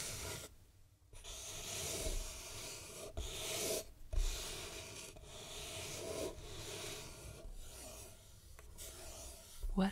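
Long red-painted nails scratch and tap the lid and sides of a small, closed, hollow hexagonal wooden jewelry box painted with mint, black and red stripes and fitted with a brass clasp. Steady bright, raspy scratching runs in bursts, broken by brief pauses and soft taps, with a sharper knock near the end.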